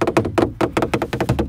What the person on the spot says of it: It sounds like plastic, but hey, plastic is motorsport, remember that.